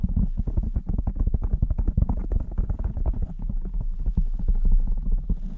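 Fingertips and long nails of both hands cup, rapidly tap and rub a blue foam windscreen on a black microphone. The result is a dense, fast stream of deep, muffled thumps and soft scratching, with almost all the energy in the low range and nothing bright.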